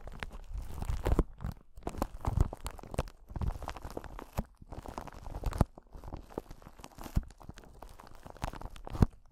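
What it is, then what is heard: Clear crystal ball. A clear crystal ball, glass or possibly acrylic, is held in both hands close to the microphone and scratched and tapped with long nails. Dense, crackly scratching and soft ticking taps run throughout the clip, with a few sharper, louder taps standing out. The sound is weighted toward low, muffled tones and each tap dies away almost instantly.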